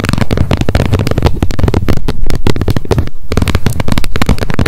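Long nails tap rapidly on the edge and face of the plastic lid of a wet wipes pack held upright. The result is a dense, continuous run of quick, dull clicks and thumps that sit mostly in the low end, each dying away almost at once.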